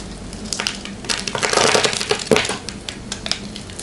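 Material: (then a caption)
Soap. A palm-sized solid white soap bar, held in a hand with long painted nails, is cut into cubes with a small metal blade. Dense, crisp, crackling crunches with bright high grain build to a thicker burst in the middle. They then thin out into scattered sharp snaps with very little ring.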